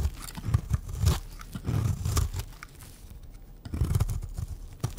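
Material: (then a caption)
Soap. A pink, round, solid bar of dry soap is held in the hand and shaved into flakes with a utility knife blade. Repeated dry, crunchy scraping strokes come in bursts, with a heavy low body and sharp bright edges, and a quieter pause partway through.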